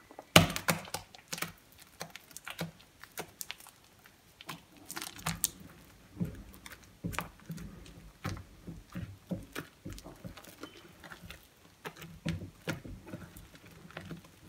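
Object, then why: Soap paste in a glass bowl. A bare hand presses and rubs through creamy whipped soap mush made from five soaps in a glass bowl, smearing the soft paste along the bowl. A string of short, wet, crackly squelches follows, each a brief bright crackle over a soft low body, starting with a sharper pop.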